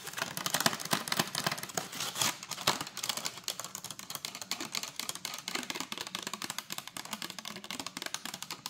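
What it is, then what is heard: Plastic strawberry clamshell. Long acrylic nails rapidly tap and scratch the lid and sides of a hand-sized, hollow clear plastic clamshell container full of strawberries. The result is a dense stream of short, bright plastic clicks and crackly scratches with almost no low end, each tick dying away almost instantly.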